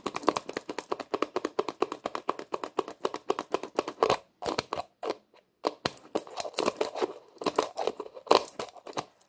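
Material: Plastic.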